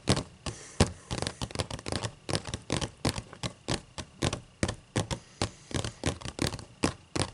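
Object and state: Open paper book pages.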